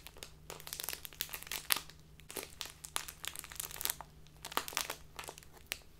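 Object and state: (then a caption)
Crinkly plastic tea bag. A small crinkly plastic bag filled with tea is crinkled and squeezed with fingertips and long nails. The result is a dense stream of bright, sharp crackles and crunches with no ringing, over a faint steady low hum.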